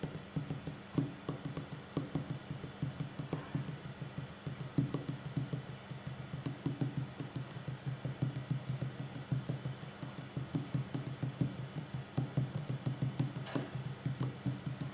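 A solid wooden tabletop is tapped by the fingertips and short nails of both hands. A steady run of quick, soft, dull knocks with a low hollow tone around 130 Hz dies away almost at once, with faint clicky tips on some strikes.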